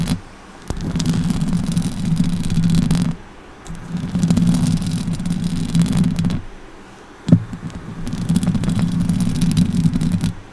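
Long orange acrylic nails on both hands scratch the hollow metal mesh grille head of a silver Blue Yeti USB microphone with stickers on its body, then pluck at it at the end. Three sustained bursts of dense, low, rumbling scratch noise centered around 170 Hz are separated by short quiet gaps, and sharp clicks open the first and last bursts.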